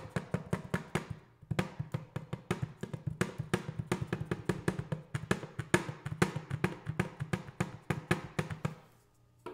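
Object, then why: Metal paint cans. Metal paint cans are tapped in quick, rhythmic runs of about 38 short, dull taps, with a brief pause near the start and a trailing silence at the end. Each tap is low and hollow with a faint tone, dying away almost instantly with little brightness.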